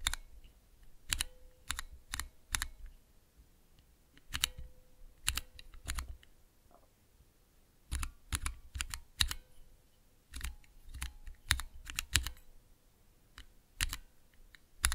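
Fingertips slowly press the clear plastic keycaps on a small, hollow plastic mechanical keyboard switch tester fitted with Cherry MX switches. Each press gives a sharp, bright clack with a low thump underneath, and a faint, brief ringing tone follows some presses. The presses come in irregular clusters separated by quiet pauses.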